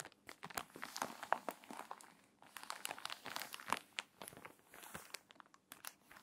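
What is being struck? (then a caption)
Paper magazine pages. Long nails scratch across the pages of an open, crinkly, water-damaged paper magazine, then hands turn a page and press the spine flat. Dense bright crinkling and crackling mixes with sharp little clicks and scratchy rustles, with a brief quieter lull midway.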